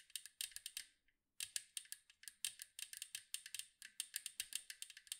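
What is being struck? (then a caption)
Metal cookie tin. Long acrylic nails tap quickly on the curved metal side of a large, round, hollow metal cookie tin with a blue and white striped side. About 29 sharp, bright clicks come in quick bursts, with a brief pause near the one-second mark. Each tap dies away almost instantly, with no low body to the sound.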